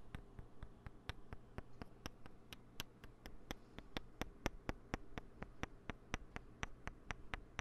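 Poker chips on a desk, bought for dealing practice in a card-game class, are handled and tapped, giving about 31 sharp, dry clicks at an uneven pace of roughly one per second. Each click dies away almost instantly over a quiet, steady low hum.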